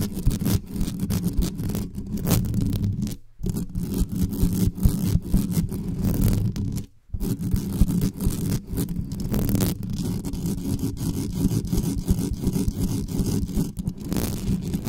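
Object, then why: Metal mesh microphone grille. Long nails scratch and tap aggressively on the uncovered metal mesh grille of a black condenser microphone. The result is a dense, boomy rumble of fast scraping and tapping, heavy in low frequencies with a steady hum near 113 Hz. It breaks off in two brief silences around 3.3 and 7 seconds.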